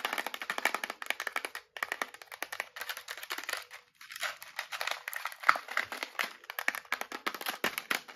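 A small clear plastic box filled with metal eyelets is tapped with long nails and shaken, so the eyelets rattle inside. The result is a fast, dense stream of sharp, bright clicks and rattles with almost no low end. Two brief pauses occur, near 1.7 and 4 seconds.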